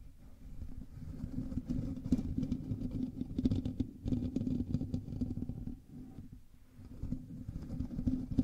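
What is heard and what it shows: Fingers of both hands scratch and rub the top of a black USB microphone's hollow metal mesh grille. The result is a dense, close, low scratching rumble with a steady hum-like tone near 250 Hz and scattered brighter crackles, briefly easing off around six seconds before building again.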